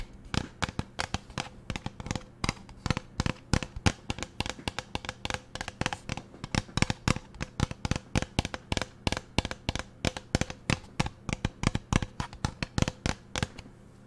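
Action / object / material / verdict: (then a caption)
tap / plastic pump bottle / plastic / none. Fingernails tap and scratch the body of a teal plastic lotion bottle with a pump dispenser. The result is a rapid, steady stream of short, dry clicks with no ring. Faint scratching fills the gaps over a low background hum.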